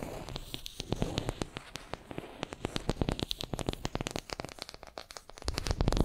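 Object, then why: Small wooden brush handle. Long nails scratch and tap a small, solid wooden makeup brush handle held in both hands. A rapid, irregular stream of sharp, dry clicks and light scratching rides over a soft low rumble, and the sound grows fuller and louder in the low end near the end.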